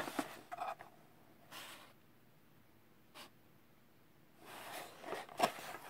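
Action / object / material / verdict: scrape / small closed cardboard box / cardboard / none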